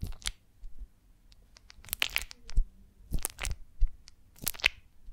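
Long nails scratch and rub across the wax cells of a rounded golden beeswax honeycomb on a branch held in the hands. Irregular dry crunching and crackling scratches flash bright and high, with soft low thumps beneath and short quiet gaps between bursts.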